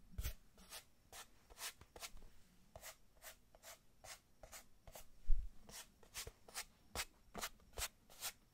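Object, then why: Small cardboard box. Fingertips and long nails rub and scratch the sides of a small, hollow kraft cardboard box held close, in a steady series of short, separate strokes. Each stroke gives a brief, dry, bright scratch over a soft low thump from the hollow box, with one heavier bump about two-thirds of the way through.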